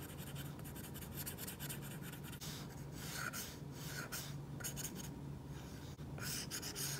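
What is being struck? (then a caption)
Plastic stylus tip on a glass tablet screen with a matte plastic protector. A plastic stylus tip makes coloring strokes across an iPad's glass screen covered with a matte plastic screen protector, a flat solid surface. The result is a quiet, continuous scratchy rubbing with bright, hissy bursts that rise and fall with each stroke. A steady low hum sits underneath.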